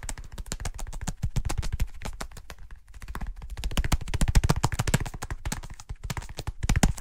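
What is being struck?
Small folded leather wallet.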